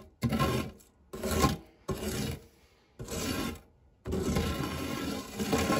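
A silicone spatula scrapes flat across the dark textured nonstick base of a shallow, round fluted metal tart tin, empty apart from crumbs. Five rasping, rubbing strokes are heard, each a gritty low-to-bright scrape separated by short pauses, with the last stroke longer and steady.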